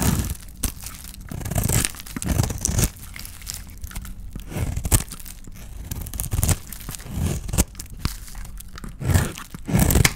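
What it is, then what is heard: Dry bar soap being scraped. A metal blade scrapes a solid oval bar of dry white soap with a red painted shell, held in the hand, cutting off soap curls. Repeated dry, crunchy scraping and crackling strokes come in bursts, with brief quieter pauses between them.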